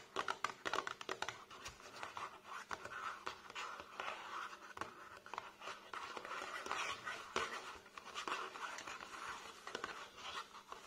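Fingertips and short nails tap and scratch the sides of a tall, narrow, hollow printed cardboard box for a 9 ml perfume bottle standing upright on a table. Quick, dry, papery taps mix with soft scratching in a steady, uneven stream, each tap dying almost instantly with a hollow midrange tone around 1.2 kHz.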